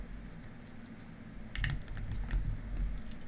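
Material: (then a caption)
Plastic. A cardboard shipping box from the Lego warehouse, full of plastic toy bricks, is shaken just for the pleasure of hearing the rattle, even though the sender already reveals what's inside. Low, muffled thumps and a loose clattering of the bricks inside grow louder after the first second and a half, with a few brighter ticks on top.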